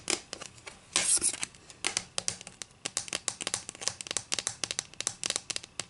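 Long green acrylic nails scratch and rub along the top edge of a solid, flat wooden ruler. The result is a quick run of short, dry, bright scratching strokes with almost no ring, plus one longer, louder rasp near the start.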